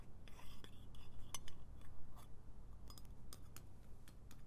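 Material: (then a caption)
Metal. A small round metal lip balm tin has its lid tapped and scratched with long nails, then is opened, and the lid and base clink against the nails. Quiet, bright metallic ticks and light scratching rise over a steady low hum, each click dying away almost at once.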